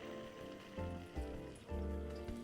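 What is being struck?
Nothing is struck.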